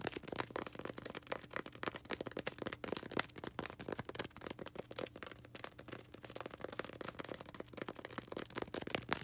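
A small, solid white polystyrene foam ball held in the hands is tapped and scratched rapidly with long red acrylic nails. The result is a dense, continuous stream of dry, bright clicks and scratchy rasps, with very little low end and no ring after each hit.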